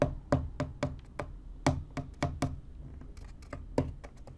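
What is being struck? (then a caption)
Corrugated cardboard box. Fingertips and nails tap and scratch the top surface of a small, empty, hollow corrugated cardboard box. A run of short, dull, hollow knocks with a low body and quick decay is interspersed with faint, softer scratching between taps.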